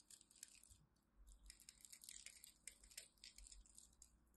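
A small craft knife scores and scratches a grid into a solid rectangular bar of dry pink-and-white striped soap held in the fingers of a hand with long pastel nails, chipping off small cubes. Quiet, dense, bright crunchy scraping and crackling fill the clip in rapid bursts, with a faint low rumble underneath.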